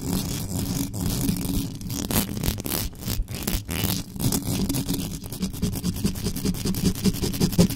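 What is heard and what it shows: Very long acrylic nails on both hands rapidly scratch the uncovered, hollow metal mesh grille of a black USB microphone. The result is a continuous, dense scratching with a heavy low rumble and fast, bright scraping bursts on top.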